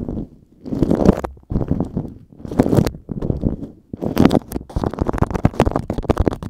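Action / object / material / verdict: scrape / waxed cotton food wrap / waxed cotton / none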